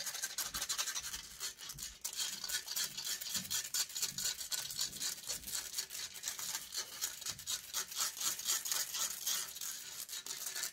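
Long acrylic nails scratch and rub a hollow metal mesh microphone head, making a dense, bright, hissy rasping with almost no low end. The strokes come quickly, about four per second in an uneven rhythm, with each scrape fading almost at once into the next.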